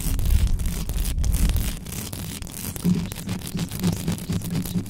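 Long acrylic nails rapidly scratch and brush over an uncovered metal mesh microphone head. The result is a dense, continuous low rumbling scrape with quick gritty flutters and a faint bright hiss on top, swelling and easing as the nails keep moving.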